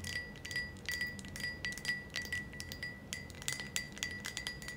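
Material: Glass.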